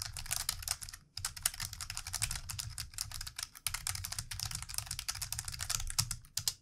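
Fast typing with the fingertips of both hands on a plastic computer keyboard, producing a dense run of quick, bright clicky taps with a low thud underneath. The taps come in steady bursts with brief pauses between them.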